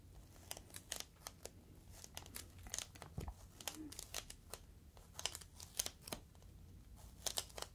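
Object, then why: Inflated plastic air-column cushion. A clear, inflated plastic air-column cushion is squeezed and crinkled with fingertips. It gives a quiet run of sharp, bright crackles and pops, with a low steady hum underneath. A single soft low thump comes around the middle.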